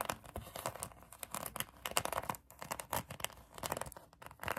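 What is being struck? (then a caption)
Polyurethane foam donut toy. Long acrylic nails scratch a pink polyurethane foam donut squishy toy, producing a rapid series of dry, crackly scratches with brief taps. The scratches have bright, papery texture and little low end, and each one stops almost instantly.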